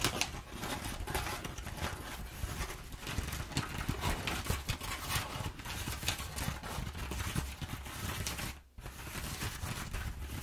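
Long nails scratch and pinch along the folds of crumpled brown kraft packing paper. The result is a dense, continuous crackling and scratching with bright papery rustle over a low rumbling body. The sound drops briefly near the end before the scratching resumes.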